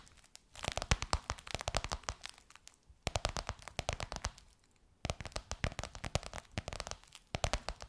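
Long white nails quickly tap and scratch a gold crocodile-embossed faux leather pillowcase over a soft pillow. Rapid crisp, crinkly clicks and scrapes come in three bursts with brief near-silent pauses. Each tap is sharp and dry, with no ring.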